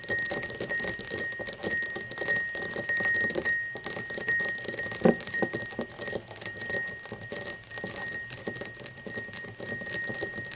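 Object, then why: Cut crystal glass tumbler. An empty, hollow cut-crystal glass tumbler stands upright while long nails tap rapidly across its faceted sides. The taps produce a dense stream of bright, ringing clinks with a steady high tone above them. There is only a brief lull just before the four-second mark.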